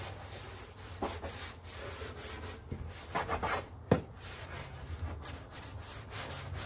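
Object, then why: Molded plastic car interior door panel. A gloved hand scrubs a large, hollow, foamed, molded plastic interior door panel of a very dirty Honda with a bristle brush, in circular and back-and-forth strokes. Soft, steady bristle rubbing plays over a low background hum, with a few louder swipes and a sharp brush knock near the middle.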